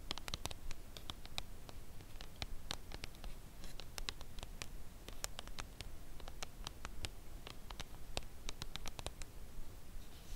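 Long acrylic nails scratch and tap the face of a dark brown Lindt Creation Caramel cardboard chocolate bar box lying flat on a velvet cloth. Many quiet, sharp, bright clicks scatter irregularly over a soft scratching texture and a low, steady rumble. Each tap dies away almost instantly.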